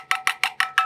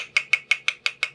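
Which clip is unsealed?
The first.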